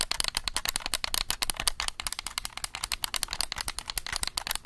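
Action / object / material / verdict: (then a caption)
tap / plastic game controller / plastic / none. A black plastic game controller is held close to a microphone while fingertips click its buttons rapidly. About 35 sharp, dry clicks follow one another in a fast, uneven stream. They are bright and crisp, with almost no ring after each press.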